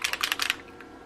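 A jar of Foundry wax paint in the statue color is shaken to mix it before dabbing faux brad dots. About six quick, bright, clicky rattles sound in the first half second, then fade to quiet. The contents are left mixed.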